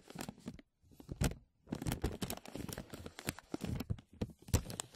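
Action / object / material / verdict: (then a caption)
scrape / thin plastic vacuum-seal bag / plastic / none. Fingertips tap and crinkle a thin, clear, embossed plastic vacuum-seal bag stretched over a mesh mic dome. Dense bursts of crackly, tearing crinkles with soft, low thumps come in quick clusters, broken by two brief pauses near the start. Each sharp crackle dies away almost instantly.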